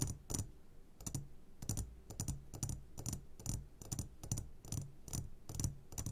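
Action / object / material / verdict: tap / glass jar filled with gummy candies / glass / none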